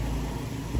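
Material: Nothing is struck.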